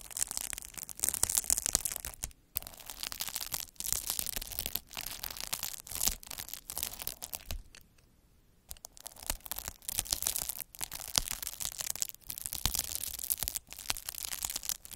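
A derma roller with metal microneedles, held by the fingertips, is rolled back and forth across a large sheet of clear plastic bubble wrap with air-filled bubbles. It makes a dense, bright, crackling scratch in rolling bursts separated by brief pauses, with a near-silent gap about midway before the crackling resumes.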